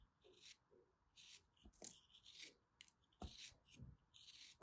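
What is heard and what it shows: An orange block of solid kinetic sand, held in the fingers, is sliced with a small black blade. It gives a quiet series of soft, gritty crunching and scraping bursts with a bright, hissy texture and occasional low thuds as the blade cuts through.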